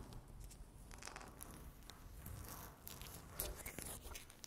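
Long natural fingernails scratch a flat, solid, speckled granite-look laminate tabletop. The result is a continuous run of dry, raspy scraping strokes with bright, crackly bursts over a low rumbling undertone.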